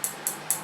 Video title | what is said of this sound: Benchmade 761 | if you tap on it, hear that? That's just closing that little bit of space.